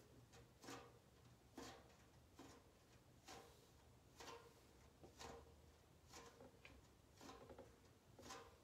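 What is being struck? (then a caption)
Large round metal cookie tin, lid edge. A large, round Harry London metal cookie tin with a blue frosted-print lid, hollow and closed, is held and tapped around the lid edge with long painted nails and fingertips. Bright, clicky metallic taps come in bursts about once a second, each with a short, hollow ring. A faint low hum sits underneath.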